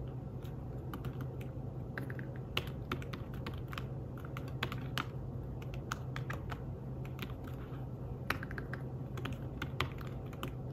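Fingertips with short nails type quickly on a slim, thin and flat folio keyboard for a tablet, its keys covered in grey fabric over plastic. The rapid tapping sounds soft and muted, with short, dry clicks and an occasional sharper tap, over a steady low hum.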